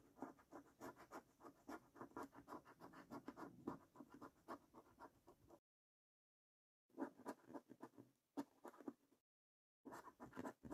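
A coin edge scrapes the latex coating off a thin paper scratch card resting on a wooden table. Rapid, uneven scratching strokes run for several seconds, then stop. Shorter bursts of scraping follow, separated by brief silences.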